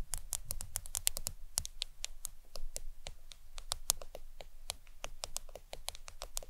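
Long acrylic nails tap quickly and steadily on the glass screen of a black smartphone lying flat on a towel. Each tap is a bright, dry click that stops instantly, over a faint low hum in the background.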